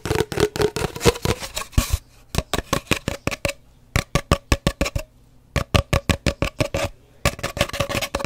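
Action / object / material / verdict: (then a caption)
tap / cardboard paper towel tube / cardboard / none. An empty, hollow cardboard paper towel roll, held horizontally and then diagonally, is tapped and scratched with long dark nails. Quick, dry, hollow taps come in uneven bursts separated by brief pauses, with a faint low hum underneath.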